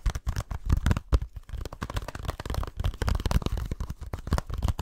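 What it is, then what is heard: Plastic game case. Fingertips and nails scratch and tap the surface of a small, flat, hollow plastic video game case with an orange printed cover, held close to the microphone. A rapid, continuous stream of dry, crackly taps and scrapes is heard, with a dull, hollow low thump and almost no ring after each contact.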